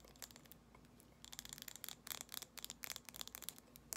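Long nails tap and scratch a small amber glass jar candle with a gold metal lid, filled with solid wax, mostly along the glass sides and the lid rim. The result is a quiet run of bright, crisp clicks and scratchy ticks with almost no low end, growing busier and louder after the first second.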